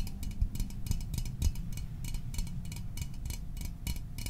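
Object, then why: Small metal soda can. A small, hollow metal Fanta orange soda can, held in the hands, is tapped quickly with fingertips and fingernails. The result is a steady stream of light, bright ticking clicks over a low, dull thump, and each tap dies away almost at once with little ring.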